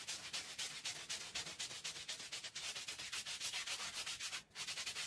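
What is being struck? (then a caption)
Woven textile rug scrubbed with a stiff brush. A stiff hand-held scrub brush is pushed in long strokes across a small, oval, fringed woven rug that lies wet and foamy on a concrete floor, rubbing and scratching the pile. The result is a steady run of bright, hissy scrubbing strokes, with a brief pause near the end before the scrubbing resumes.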